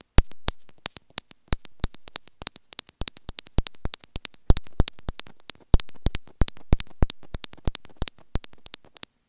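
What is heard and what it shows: Long grey painted nails scratch and tap the small white plastic inline microphone remote on a white earphone cable, held close up with a clear plastic bottle nearby. Dense rapid clicks and taps come in quick irregular bursts with a soft scratchy hiss, each hit sharp and dry with no ring, deep thumpy low end and a bright crackling top.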